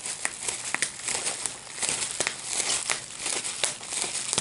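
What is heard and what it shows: A clear plastic bubble wrap sheet of small air-filled bubbles is held up in both hands while fingertips pinch and pop the bubbles. Bright, steady crinkling of the plastic runs throughout, broken by ten sharp, short pops that snap and stop almost instantly, with almost no low end.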